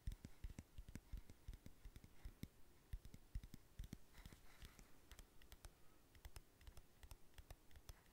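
Fingernails tap and scratch the lid of a closed, palm-sized, round black plastic powder compact. Rapid, quiet, dull clicks with a low, thumpy weight come in an irregular stream over a soft scratching rustle, each tap dying away almost instantly.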